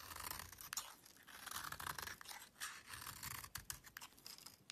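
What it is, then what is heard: Soap bar being scraped with a knife. A small metal knife blade scrapes and carves a solid, palm-sized, rectangular beige soap bar held in one hand, and the shavings pile up on a black surface. The sound is dry, crisp scratching with a bright, hissy edge, broken by sharper clicks where the blade catches.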